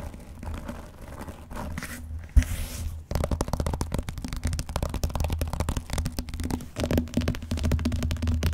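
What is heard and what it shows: A closed blue vinyl binder, letter size and fairly flat, lies on a large cardboard box while fingertips and medium painted nails tap and scratch its front cover and edge. Soft scratching gives way to a sharp knock, then a dense run of quick, dull taps with a low hollow body and little brightness.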